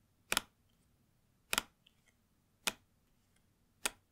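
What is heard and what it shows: Long nails tap rapidly with both hands on the back of a long white cardboard Apple Watch SE 2 box with embossed circles. Four short, bright, dry bursts of clicky tapping sound, spaced about a second apart, with quiet gaps between.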